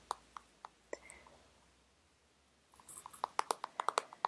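Long red nails tap on the surface of a small, soft plastic sunscreen tube, likely full, held upright. Four spaced, crisp clicks with a mid-pitched tone are followed by a near-silent pause, then a quicker flurry of sharp taps. Each tap is dry and dies away almost instantly.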